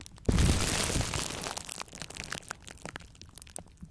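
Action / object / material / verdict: scrape / plastic bubble wrap / plastic / none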